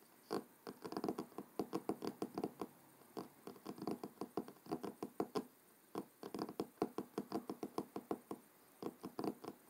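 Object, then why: Cloth-covered hardcover book. Fingertips and short nails of both hands tap and knock rapidly on the front of a closed, thick hardcover book with a dark blue cloth cover lying solid on a wooden table. The result is a fast, uneven patter of soft, dull knocks with a warm low-mid body and almost no ring, coming in bursts with brief pauses between them.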